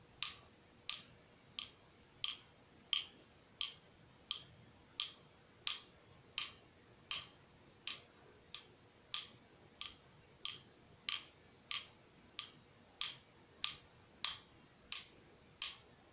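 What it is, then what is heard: Steel nut driver shaft. A hand-held nut driver with a long solid steel shaft, hollow socket tip and clear yellow plastic handle is tapped repeatedly along its shaft by the steel shaft of a second nut driver. Twenty-four bright metallic taps sound at an even pace, each a sharp high ping that dies away almost instantly.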